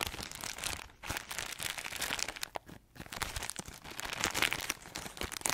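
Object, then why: Crispbread pack in plastic wrap. Long acrylic nails scratch and squeeze a plastic-wrapped pack of crispbread crackers, giving a dense run of bright crinkling and crunching. Brief quieter gaps fall near one second and just before three seconds.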